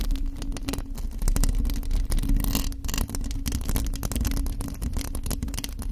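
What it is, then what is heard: Metal mesh microphone grille scratched with nails. Long acrylic nails on both hands scratch the hollow metal mesh grille of a black studio microphone with no foam or fluffy cover. The result is a dense, continuous crackling rasp of rapid scratches, heavy with deep, boomy low-end rumble and a steady low hum underneath.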